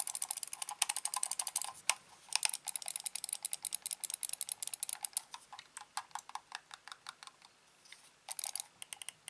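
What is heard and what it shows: A black hollow plastic gaming mouse with a cable has its buttons and scroll wheel clicked and its surface tapped with fingertips. Rapid, dry, bright clicks and taps come in fast bursts, each dying away almost instantly, with short pauses near 2 seconds and just before 8 seconds. The sound is thin with no low end, like fast typing on a keyboard.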